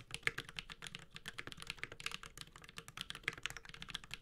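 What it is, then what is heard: Mechanical keyboard with plastic keycaps. A Space65 Cybervoyager 65% mechanical keyboard with a metal case, Holy Panda switches and ABS plastic keycaps is typed on continuously with the fingertips of both hands. It produces a steady stream of rapid, bright, clacky keystrokes with crisp, short attacks and very little ring or low end.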